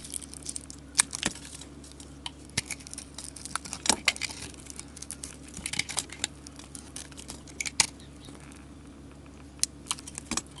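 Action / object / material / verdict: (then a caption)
scrape / coated soap bar shaved with a metal blade / soap / none. A flat metal blade shaves curls from a hand-held solid soap bar coated in gold paint and glitter. The scraping gives a steady bright, crackly hiss with sharp, crisp snaps and ticks scattered throughout, over a faint low hum.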